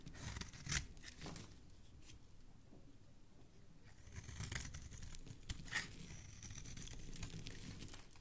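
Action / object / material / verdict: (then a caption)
scrape / bar of soap / soap / none. A metal blade carves and scrapes flakes off the face of a solid blue oval bar of soap held in the hand. Quiet, dry scratching and crackly shaving strokes come in uneven bursts, with bright sharp edges over a soft low rumble.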